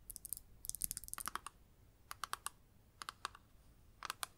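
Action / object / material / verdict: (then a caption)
tap / plastic eyeshadow palette with clear lid / plastic / none. Long nails tap on the clear lid and edges of a flat rectangular plastic eyeshadow palette held in both hands. The result is quick, light, bright clicks with almost no ring: a dense flurry at first, then short separate bursts of taps with quiet gaps between them.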